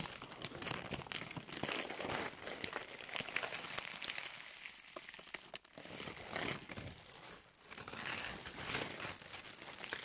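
A thin white tissue or paper napkin sheet, held in both hands, is crumpled and crinkled with fingertips and long nails. The result is a dense, continuous run of crisp, bright crackling and rustling with little low end, swelling and easing in waves over the clip.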